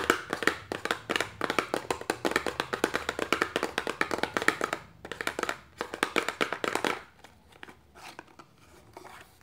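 Long nails tap rapidly on the rim and sides of an opened, empty, hollow small paperboard box held upright in the hand, giving dense, crisp, short hollow clicks. After about seven seconds the tapping turns sparse and quieter until the end.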